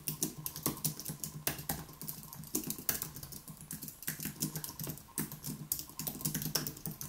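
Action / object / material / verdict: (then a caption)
tap / plastic-key aluminium keyboard / plastic / none. Both hands tap rapidly with their fingertips on the plastic keys of a white Apple Magic Keyboard with an aluminium body, resting on a wooden desk. A steady stream of quick, light, bright clicks is heard, each dying away almost at once over a soft low thud, with a few louder keystrokes standing out.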